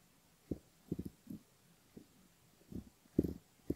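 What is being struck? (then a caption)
Silicone ear model scratched by a bamboo ear pick. Close up on a silicone ear model, the spoon tip of a bamboo ear pick scratches the front of the ear and the skin beside it. Soft, low scratching strokes come in short bursts with quiet gaps between them. The sound stays muffled, with no high content.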